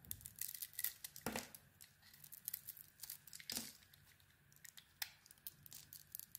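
A solid, hand-sized bar of soap with a glossy black outer layer and a cream interior is held in the palm and shaved with a small metal blade, peeling off thin curls. Soft, crisp, bright scraping strokes come in an uneven rhythm, with two longer, fuller scrapes standing out among the lighter ticks and crinkles.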